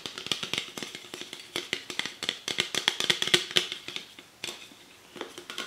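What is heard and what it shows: Long nails and fingertips tap and scratch the bottom of a Nectar aluminium drink can, making a rapid, uneven series of bright, short metallic clicks and ticks with scratchy rasps between them. Each tap rings only briefly, with a faint tinny tone, and there is almost no low end.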